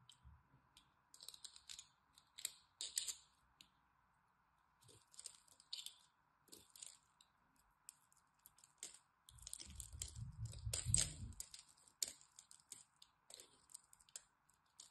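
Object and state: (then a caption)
Bar soap being scraped. A black blade scores and scrapes a solid green bar of soap with a diamond-pattern surface, flaking off chips in short bursts of bright, crisp scratching and crackling. A faint steady tone near 1 kHz runs underneath throughout. Around the ten-second mark a longer, heavier scrape adds a deep low rumble.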